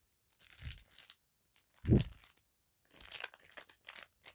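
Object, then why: Cotton fabric bandana. Long black acrylic nails and fingertips tap and scratch across a thin navy blue paisley cotton bandana lying flat on a table. Soft, dry scratchy rustles come in short scattered bursts, with one louder dull thump near the middle. The fabric gives no hollow ring, so each sound dies away almost at once.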